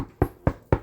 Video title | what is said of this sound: How to make sourdough bread! | it should sound hollow when you knock on it